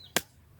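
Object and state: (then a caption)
Hard-shelled wood apple struck with a pestle. A pestle strikes a large, hard, rough-shelled wood apple bought at the market for 10 baht, pounding it to crack the shell open. A single sharp, bright knock with a woody crack dies away almost at once. Once opened, the fruit proves ripe and fragrant.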